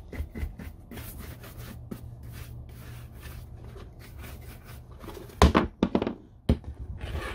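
A hollow, empty brown oiled-leather lace-up work boot (Red Wing Iron Ranger), held on its side on a wooden table, is brushed with a wood-handled horsehair brush, giving soft, airy rubbing strokes over a low steady hum. Near the end, a brief moment of hand handling brings a few sharper, louder thumps and scuffs before the brushing resumes.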